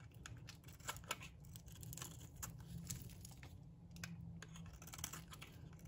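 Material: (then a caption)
Soap. A metal blade scrapes and cuts flakes off a solid, dry pink bar of soap held in the palm. Quiet, crisp, bright scratching strokes come in quick succession over a steady low hum, with a few sharper crackles standing out.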